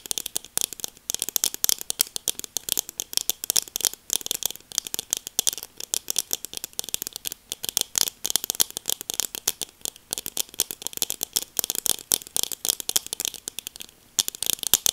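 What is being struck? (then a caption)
Plastic sunglasses frame. Long nails tap and scratch quickly on the frame of a pair of black plastic sunglasses, making a dense stream of tiny, bright, dry clicks with almost no low end. The taps come steadily for the whole clip, pausing only briefly near the end.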